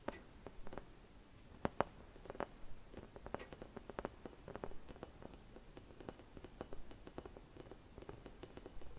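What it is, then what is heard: Hollow glass Christmas bauble. Long red nails quickly tap and scratch a hollow, empty clear glass Christmas bauble with a white painted design. Many short, quiet clicks and light scratches with a faint glassy ring repeat over a soft low background.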